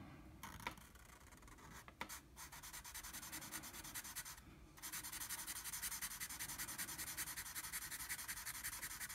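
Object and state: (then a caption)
Marker on drawing paper. A blue felt-tip marker fills a circle on a flat sheet of drawing paper with rapid back-and-forth strokes that rub the paper. The result is a soft, bright scratching hiss. A few sharper ticks come early, then the strokes grow louder and denser from about five seconds on, pulsing steadily to the end.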